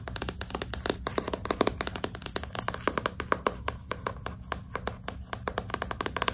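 A solid, closed hardcover book with a glossy cardboard cover is held upright in both hands while long pink nails tap and scratch its front cover. Quick, crisp, dry clicks with a bright edge come in a rapid, uneven stream, over brief scratchy rasps and a faint low steady hum.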